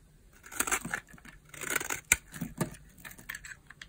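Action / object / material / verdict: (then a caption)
scrape / bar of soap cut with a blade / soap / none. A utility knife blade slices and scrapes brittle flakes off a solid purple dry bar soap held in the hand. Dry, crisp scraping bursts rise and fall with bright, papery crackle. A sharp crunchy snap stands out near the middle.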